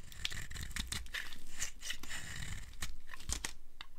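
A metal blade carves crumbly cubes off the edge of a green-and-white striped solid dry soap bar held in the palm. Dry, crunchy scraping and crackling come in quick bursts, with bright high crispness over a soft low rumble. Each cut snaps off short and dry with almost no ring.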